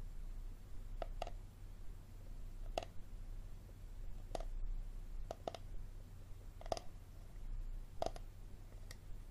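Fingernails tap and click on the ribbed bottom end of an empty, hollow, clear plastic water bottle with a label, held sideways. Short, sharp clicks with a hollow tone around 670 Hz come at irregular intervals and die away almost instantly. A steady low hum runs underneath.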